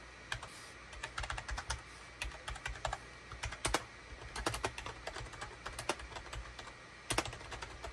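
Fingertips of both hands type rapidly on a full-size gray, cream and orange plastic SHIPADOO K600 wired USB keyboard with a hollow plastic housing, resting on a desk mat. The keystrokes come as quick, irregular, clacky taps, each a bright click with a low hollow thud that dies away almost at once, over a faint steady low hum.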